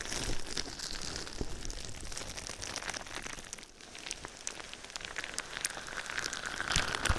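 Fingertips and nails tap and scratch clear plastic bubble wrap laid over the microphone. The result is a steady, dense crinkle of bright rustling and quick clicks, with a brief quieter dip partway through and a few sharper taps toward the end.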